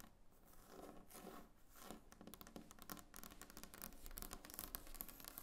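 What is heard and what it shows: Long painted nails on both hands tap across a large, solid, glossy varnished wooden tabletop. The result is a quick, dense patter of short, dry clicks with no ring, set over a soft scratchy texture that grows busier toward the end.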